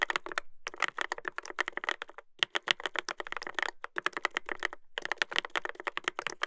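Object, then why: Mechanical keyboard with plastic keycaps and metal plate. Fingertips type continuously on a Dolphin 2021 mechanical keyboard with a brass plate and plastic keycaps. It makes rapid bursts of sharp, clacky keystrokes with a bright midrange click around 1.9 kHz, separated by brief pauses. Each keystroke stops almost instantly, with no ring.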